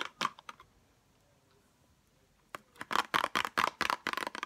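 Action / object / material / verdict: tap / small cardboard box with clear plastic window holding metal tweezers / cardboard, plastic / none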